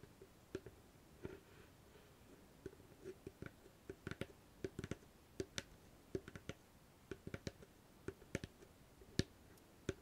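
Long fingernails tap the lid of a small, hollow wooden treasure-chest box fitted with a metal latch and studs. About two dozen short, dry clicks come in an irregular rhythm, each with a hollow low-mid knock and a bright tick on top. The taps die away almost instantly against a quiet background.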